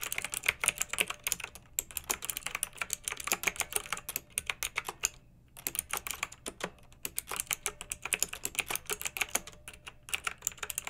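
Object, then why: Plastic mechanical keyboard with round keycaps. Fingertips and long nails type on a pink backlit plastic mechanical keyboard with round, typewriter-style plastic keycaps. They produce a steady stream of bright, crisp clicks with very short decay, broken by brief pauses near 1.7, 5.5 and 10 seconds.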